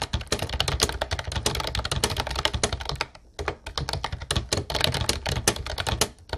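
Fingertips rapidly tap the round white keycaps of a light blue plastic retro Ubotie keyboard. The result is a dense, steady stream of short, dry clicks with bright, high clatter over a low thump from the keys bottoming out. The typing briefly pauses just after three seconds, then resumes at the same fast pace.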